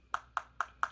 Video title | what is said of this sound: SEPHORA FAVORITES 2024 - Bold & Blushing Kit: First impressions + other ramblings | looks very nice like frosted metal but sounds like plastic